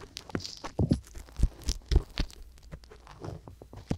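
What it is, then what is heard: Silicone ear microphone scratched with a wooden ear pick. A wooden ear pick, held with long yellow nails, scratches continuously inside the ear canals of a pair of small, solid, pale silicone ear microphones. The sound is a close, low-heavy series of soft crunching and scraping rubs with irregular thuds and faint bright scratches.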